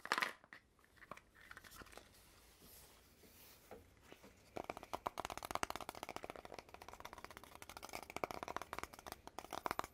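Fingers and nails grip, tap and scratch along a long hollow red cardboard tube with metal end caps and a gold metal band at the cap seam. A few soft, scattered taps and a brief rustle come first, then from about halfway the scratching and tapping turn into a dense, rapid run of dry, crinkly clicks centered in the midrange, with quick decays and no ringing.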